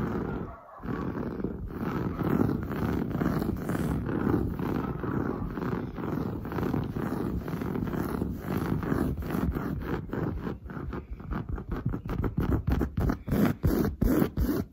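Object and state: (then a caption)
Woven fabric sofa upholstery. Long blue nails scratch fast over padded, grey-brown textured woven sofa fabric. The result is a dense, continuous low rasping that breaks into quicker, separate strokes toward the end.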